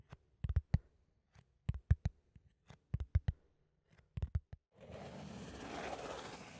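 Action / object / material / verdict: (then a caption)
scrape / cardboard sheet / cardboard / none. Fingertips and nails scratch a flat brown cardboard sheet held in both hands close to the microphone. Sixteen short, dry, low-heavy scrapes come in quick clusters with quiet gaps, then a steady, brighter continuous scratching rustle fills the last couple of seconds.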